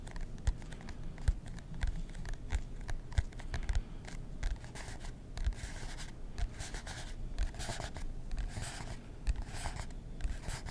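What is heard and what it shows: Fingernails scratch the cover of a marbled composition notebook with a cardboard cover, held in both hands. It makes a steady, dry, papery scratching broken by many short soft taps and thumps, with the sound weighted low.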